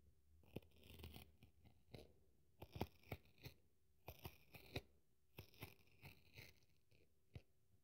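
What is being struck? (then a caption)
Polyurethane foam kitchen sponge. A metal craft knife digs into, scratches and tears the dry pink wavy polyurethane foam side of a kitchen sponge, scattering pieces across a table. Quiet, dry, crackly crunches and short tearing scratches come in irregular bursts with bright crackle above and a soft low thump beneath, each dying away almost at once.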